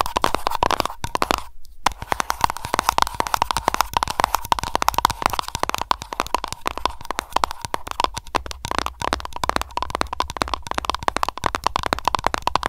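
Long nails tap rapidly on an aroma candle container, producing a dense stream of sharp, dry clicks with a steady tone near 1 kHz, mixed with scratching and lid sounds. The taps are very short with almost no ring, and a brief silence falls near the two-second mark before the tapping resumes.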